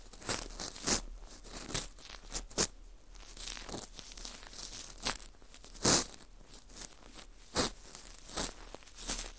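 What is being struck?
Dried wheat gluten ring (fu), porous baked wheat gluten.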